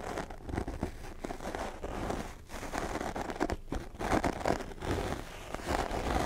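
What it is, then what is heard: Foam microphone windscreen being scratched. Fingertips of both hands, one wearing a ring, scratch and rub a small, soft black foam windscreen fitted over the head of a Blue Yeti microphone. The result is a dense, continuous stream of close, muffled crackling and scratchy rustling, with a soft low rumble and little high end. The rubbing swells and fades in uneven bursts throughout.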